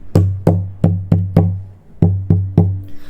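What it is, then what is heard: Tap-tuned acoustic guitar top, resonant. Taps on the wooden top of a Cort Earth 100 acoustic guitar that has had its side brace removed, its bracing thinned and its top tap tuned. A series of knocks each produce a deep, woody thump centred around 98 Hz that rings and bounces briefly before decaying. The result is the lively, resonant top the tuning was aiming for.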